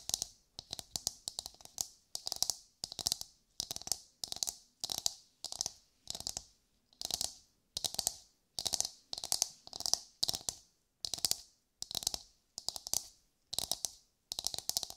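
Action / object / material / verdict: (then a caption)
tap / coconut shell / coconut shell / none. Long white nails quickly tap and scratch a brown, fibrous, roughly head-sized coconut shell held in both hands. The sound comes as short bursts of crisp, bright clicking and dry scratching, repeating with brief silent gaps and carrying a faint hollow tone near 700 Hz.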